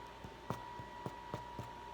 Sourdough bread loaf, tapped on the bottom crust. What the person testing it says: you turn it over and you tap on the bottom and it should sound hollow but this is done